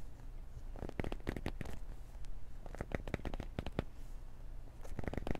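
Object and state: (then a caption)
Cardboard box scratched with nails. A small, hollow, black printed cardboard retail box for Beats earbuds is held in both hands and gripped and scratched with long nails and fingertips. Bursts of sharp, dry scratching and tapping clicks come in clusters, with bright crisp edges over a steady low hum.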